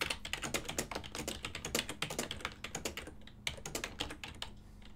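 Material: Plastic.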